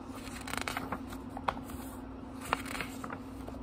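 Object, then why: Thin paper pages of a small book. Fingertips turn and rub the thin paper pages of a small, thick book, making soft, crinkly rustles and light scraping flicks over a steady low hum. Two sharper, brighter page snaps stand out amid the quieter rustling.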